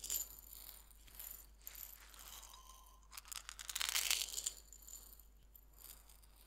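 A small glass jar about three-quarters full of coarse white salt, closed with a red polka-dot metal screw lid, is held in both hands by fingertips with painted nails and shaken and turned. The salt rattles and crunches inside the jar in bright, gritty bursts of uneven rhythm. The sound swells to its loudest cascade near the middle before settling back into softer rattling.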